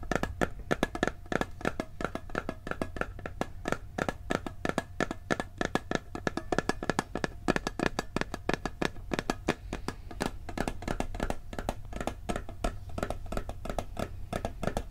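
Fingertips tap rapidly on the lid and side of a hollow, round blue steel cookie tin. The many quick, dry taps each die away almost at once, with a hollow tone around 370 Hz over a steady low rumble.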